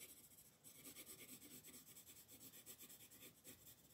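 A dark colored pencil is rubbed in rapid scribbling strokes across a flat paper coloring book page, while the other hand, with long nails, holds the page flat. The result is a quiet, continuous, bright scratchy rasp that pulses rhythmically with each back-and-forth stroke, with little low-end weight.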